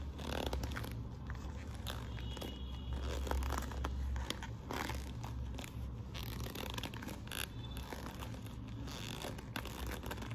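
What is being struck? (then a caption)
Quilted patent faux-leather handbag. Long nails scratch and rub across the quilting of a hollow burgundy quilted patent faux-leather handbag flap with studs. The result is a steady, dense stream of crackly scraping and rubbing over a heavy low rumble, broken by sharp, bright scratches at irregular moments.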